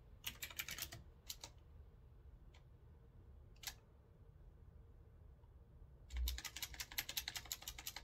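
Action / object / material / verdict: tap / retro-style mechanical keyboard with round keycaps / unknown / none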